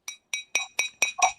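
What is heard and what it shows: A glass cup is tapped seven times, each tap giving a short, bright clinking ring with a high tone. The clear ring identifies it as a real glass cup rather than a plastic one, the kind served in business class.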